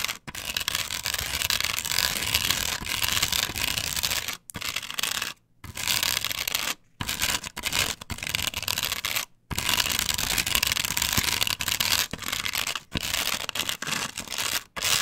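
Long pointed nails scratch the cut-out texture of a large, flat, solid plastic stencil glued onto a wooden board. The result is a dense, bright, rasping scratch that runs in long bursts. Several brief silent gaps break it up, and it is mostly high-frequency with little low end.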